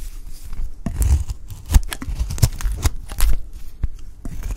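A utility knife blade shaves curls from a peach-pink bar of dry soap that is getting smaller. A quick series of crisp, scratchy scraping strokes, each with a bright crackle and a soft low thump, runs close together without pause.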